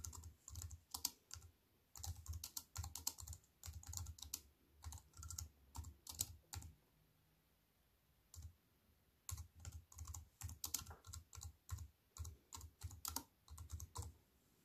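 Fingertips with long white nails type on a compact wireless keyboard with black plastic keys set in a thin silver aluminium frame, resting on a wooden table. Quick bursts of crisp, bright key clicks over soft low thumps stop dead after each press. Brief pauses break the typing, including a longer silence near the middle.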